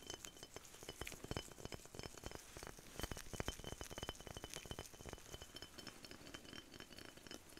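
A small clear glass perfume bottle with a dark cap, partly filled with amber liquid, is held in both hands and tapped and scratched by latex-gloved fingertips. Quick, dense, light clinks and taps overlap a soft scratchy rustle, each hit dying away almost at once, with a bright thin glassy edge running throughout.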